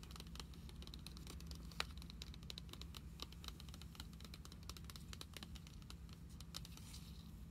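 Long acrylic nails tap and scratch across the glossy plastic-laminated cover of a Pokemon trading card binder filled with cards and lying flat. The result is a steady patter of quick, dry clicks and light scraping with bright edges. A constant low hum sits underneath, and one sharper tap stands out near the two-second mark.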